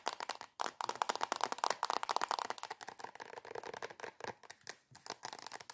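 Long acrylic nails tap rapidly on a soft plastic squeeze cream tube held upside down. The taps are quick, dry and clicky, centred in the midrange with a crinkly plastic edge and almost no low end. They come in a dense, steady stream with brief pauses near the start and end.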